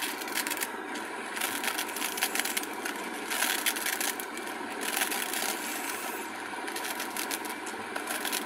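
Long acrylic nails scratch and tap the glittery surface of a flat purple glitter craft foam sheet held in both hands. The result is a steady, dense, bright scratchy crackle with no low end and small tapping peaks throughout.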